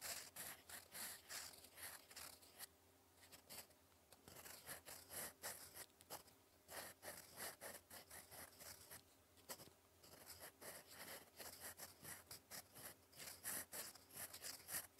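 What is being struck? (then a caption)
Metal fountain pen nib on paper. A gold metal fountain pen nib writes cursive strokes across a sheet of lined cream writing paper. The quiet recording is full of short, bright, irregular scratches that come in quick bursts with brief pauses, over a faint steady low hum.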